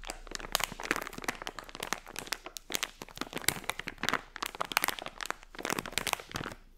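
A hand-sized, filled blue unicorn plastic foil pouch is scratched with long nails and crinkled by fingers. Dense, bright crackling and crinkling comes in quick bursts, with little low end.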